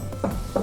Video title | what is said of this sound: Sound Deadening the 79 Series Toyota Landcruiser with Car Builders - Install Tutorial | when you tap the door, it's quite hollow